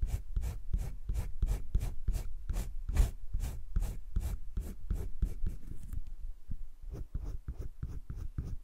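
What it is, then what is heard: Pencil shading on drawing paper. A green colored pencil shades strokes on flat cream drawing paper in a wire-bound spiral sketchbook, then lifts off the paper. Quick, steady back-and-forth scratching strokes repeat at about three per second. The strokes become sparser and softer toward the end.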